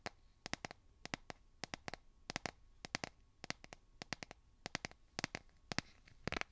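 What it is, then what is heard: Smartphone in plastic case, fingernail tapping. Fingernails tap and scratch the back of a solid, hand-sized smartphone in a light blue plastic/silicone case. About 30 sharp, bright clicks come in quick clusters of two to four, each dying away almost instantly over a faint background hiss.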